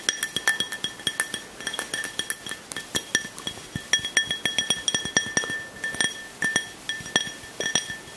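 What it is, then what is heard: Glass tumbler. A small, hollow, clear glass drinking tumbler, nearly empty with a little liquid at the bottom, is held in one hand and tapped with fingertips and nails. A long, irregular run of quick, bright clinks rings at a steady pitch near 1.8 kHz with high overtones, each tap dying away almost at once.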